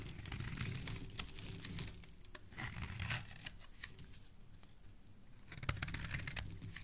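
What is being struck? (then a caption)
Bar of soap. A solid, speckled teal soap bar held in the hand is scraped along its edge with a metal blade. The result is a steady run of dry, crisp scraping and shaving sounds with bright crackles and a soft low rumble underneath, swelling at the start and again near the end.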